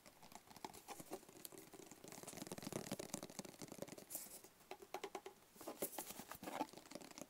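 Long fingernails tap rapidly on a small, hollow black cardboard gift box with a barcode sticker, held close. The result is a quiet stream of dry, crisp clicks and patters with short hollow knocks and bright edges that die away almost instantly.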